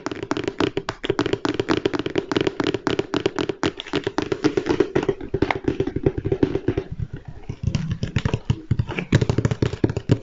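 A large, flat, hollow Lego Stormtrooper cardboard box is held in the hands and tapped rapidly with the fingertips and nails. The result is a steady stream of dry, hollow taps with a resonant low-mid body and short, quickly damped clicks. Toward the end the taps briefly shift to a deeper, thuddier tone.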